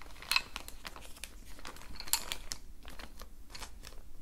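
Fingertips grip and rub a clear plastic zip-lock bag holding a set of wooden colored pencils and a red sharpener, crinkling the plastic. A steady stream of bright, short crackles runs throughout, with two sharper, louder crinkles near the start and midway, over a faint low background hum.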